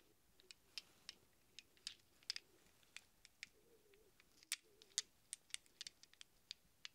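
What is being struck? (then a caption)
Small chrome steel sockets. A handful of small hollow chrome steel sockets rests in a cupped palm while the other hand's fingertips stir and rattle them together. Eighteen sharp, bright metallic clinks ring out at irregular intervals, each dying away almost instantly over a quiet background.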